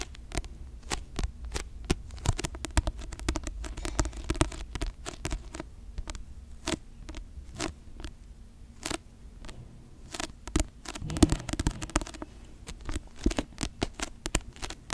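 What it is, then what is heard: Paperback book. Long manicured nails scratch and tap a paperback novel, 'The Seven Husbands of Evelyn Hugo', with a glossy paper cover held close to the microphone. Rapid, irregular dry taps and clicks sound over soft scratching, quiet overall with a low-heavy body and short, crisp transients.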